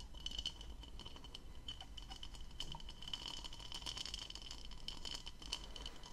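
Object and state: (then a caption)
Plastic goblet. A hollow, empty blue textured plastic goblet is turned in both hands while long nails scratch and tap its diamond-patterned bowl. It makes a quiet, steady run of quick, dry clicks and scratches with a thin, bright tone near 3 kHz over a low background rumble.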